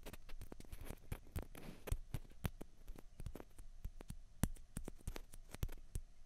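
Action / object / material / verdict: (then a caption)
tap / plastic ping pong balls / plastic / none. Long fingernails tap rapidly on two small hollow white plastic ping pong balls, one held in each hand. It makes a quick, uneven patter of short, dry clicks that die away almost instantly, with a soft low undertone beneath the bright ticks.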